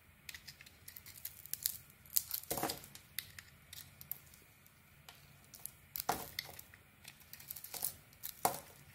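A metal blade scrapes the black polka-dot painted coating off a solid white soap bar held in the hand, peeling it away in curls. Dry, crisp scraping and crinkling strokes come in irregular bursts, bright and papery with very little low end and no ring, over quiet pauses.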